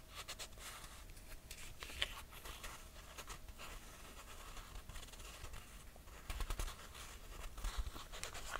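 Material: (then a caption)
Leather, cork. Fingernails scratch and tap the footbed and straps of a red buckle sandal with a leather and cork footbed. Soft, dry scratching runs throughout with quick bright ticks over a low rumble, and a few louder clusters of taps come near the end.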